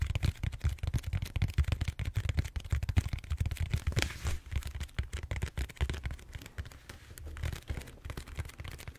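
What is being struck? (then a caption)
Styrofoam foam roller. Fingertips tap and scratch the surface of a large, solid purple styrofoam foam roller held horizontally. Rapid, dense soft thumps with a low, hollow body sit under a dry, scratchy crackle. The tapping runs steadily throughout and eases slightly toward the end.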